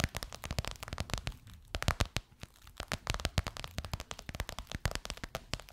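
Long white nails tap and scratch the top and edge of a golden, crocodile-embossed faux leather pillowcase stretched over a soft pillow. A rapid, uneven stream of short, dry taps with a soft low thump is heard, with faint crackly scratching and rustling between them.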